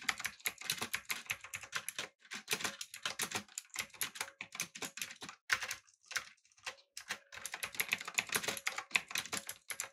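Fingertips type on a backlit, typewriter-style mechanical keyboard with round plastic keycaps. Rapid runs of sharp, bright clicks with very little low end come in bursts, with brief pauses near the two-second mark and around five to seven seconds. Each keystroke dies away almost instantly.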